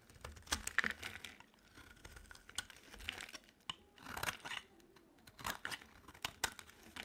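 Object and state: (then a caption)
Dry soap bar being shaved. A solid, light blue bar of dry soap held in the palm is shaved with a utility knife blade into thin curls. Each stroke makes a crisp, dry scraping and crackling sound with bright, papery detail. The strokes come in short irregular bursts separated by quiet pauses.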